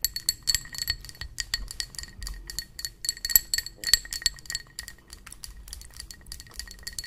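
Long pointed nails tap, scratch and grip the sides of a tall, clear, textured tumbler, probably plastic or acrylic, partly filled with water and ice cubes. A rapid, uneven run of sharp, bright clicks and clinks is heard, each dying away almost at once, with a steady tone near 2 kHz and higher glassy overtones. Softer scratching and a faint low rumble sit beneath, and the ice may be clinking inside.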